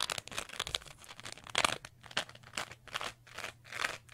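A small green textured sponge is held close and scratched and squeezed with long nails, producing dry, bright crunching and crinkling scrapes. The bursts come in quick irregular strokes with short gaps, each stopping abruptly with no ring.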